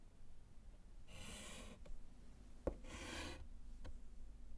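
A gloved hand writes on a small, flat, solid wood-framed slate chalkboard with white chalk. Two long, bright scratching strokes of chalk across the slate are heard, separated by short taps and a sharp click, over a low background hum.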